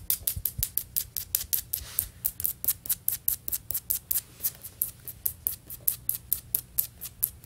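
Fingernails on both hands tap and scratch quickly across solid beige floor tiles with grout lines, likely vinyl or ceramic. A rapid, uneven run of sharp, bright clicks with very short decay sits over a faint low hum, with brief soft scraping between some taps.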